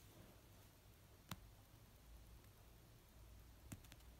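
Fingertips and nails slowly tap an orange paperback novel of solid paper resting on a blanket. Two sharp, brief clicking taps stand out, the second followed by a few fainter ones, over a quiet, low, steady hum.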